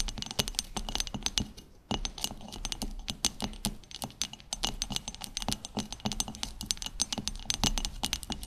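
Long chrome stiletto acrylic nails on both hands tap rapidly and continuously on a round, solid wooden cutting board, about 30 cm across with contrasting wood strips, lying flat on a table. The taps are dry, bright clicks over a faint low thud, with a brief pause near the two-second mark.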